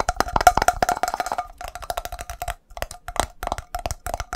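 A metal coffee can is tapped fast and hard, giving about 25 short, dry knocks with a hollow tone near 720 Hz. Each knock dies away almost at once. The taps come in quick bursts, with a brief silence around the middle of the clip.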